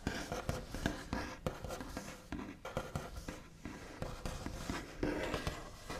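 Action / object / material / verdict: tap / wooden tabletop / wood / none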